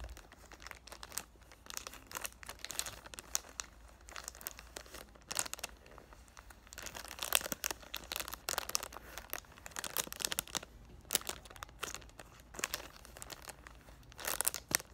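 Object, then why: Cellophane film over a cardboard box. Fingers grip and crinkle the loose clear cellophane wrap over the front of a cardboard "Thank U Next" perfume box. The result is bright, crackling plastic crinkles in quick, irregular bursts, with a faint low hum underneath and louder flurries near the middle and end.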